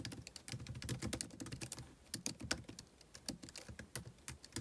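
Fingertips type continuously on a MacBook Pro laptop keyboard with white plastic keys and an aluminum body. Quick, dry clicking taps come in dense bursts with a few short pauses, each click crisp and bright with a soft low thump beneath.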